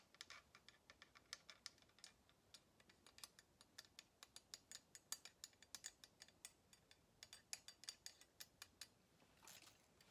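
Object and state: Wooden tong handles tapped with fingernails.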